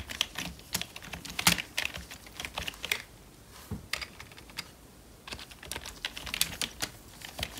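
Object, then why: Plastic membrane computer keyboard. Gloved fingertips type on the keys of a full-size, hollow black plastic membrane computer keyboard. Bursts of quick, bright, short clicks and taps run for most of the clip, with a brief quieter pause near the middle before the typing resumes.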